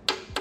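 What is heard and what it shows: Two sharp, dry taps on a CSE molded dry-carbon-fiber rear chain cover on a motorcycle, each a bright click with a short ring. Molded dry carbon sounds different from other carbon and is neater.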